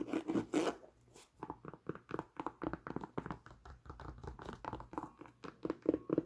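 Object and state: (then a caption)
Nubuck leather boot. A tan Timberland nubuck leather boot is held up while long nails scratch and tap across the nubuck, the eyelets and the rubber sole. It opens with a few rough, broadband scratches, then settles into a quick, uneven run of dry, muffled taps. The taps carry mostly low-mid tone and stop almost instantly with no ring.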